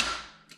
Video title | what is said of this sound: Audi freeze plug replacement DIY | just tap it until, like you can hear in this case, you're basically tapping on the engine. You can hear it quite solid.